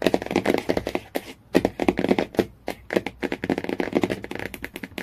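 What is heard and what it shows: Fingernails tap quickly on the laminated cardboard cover of a hardcover Jungle Book. The taps are dry, clicky and short, centered in a low-mid tone around 270 Hz, with almost no ring. They come in fast bursts separated by brief pauses.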